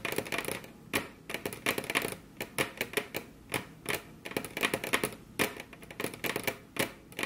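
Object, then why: Wooden table top tapped with fingernails. Both hands rest on a flat, solid, glossy dark-brown wood-grain table top while very long curved nails tap it with their tips. Quick bursts of crisp, bright clicks follow one another with short pauses between. Each tap dies away almost instantly, with little low end.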